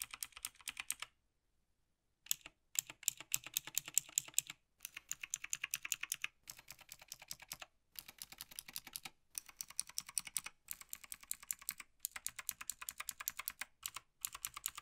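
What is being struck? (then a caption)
Plastic mechanical keyboard. A gloved index fingertip taps individual keys across a black plastic Logitech G PRO TKL tenkeyless mechanical gaming keyboard. Quick, bright, clicky keystrokes come in fast runs with very short decay and almost no low end. The runs break off into brief silent pauses, the longest near the start.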